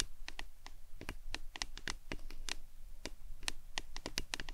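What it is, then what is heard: Plastic tumbler cup tapped with nails. A hollow printed plastic lemonade tumbler cup, held upright in both hands, is tapped and scratched with long acrylic nails. A rapid, irregular stream of short, bright clicking taps mixes with light scratching. Each tap dies away almost instantly over a steady low background rumble.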